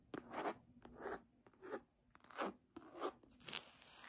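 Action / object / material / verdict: scrape / embossed faux-leather hardcover book / faux leather / none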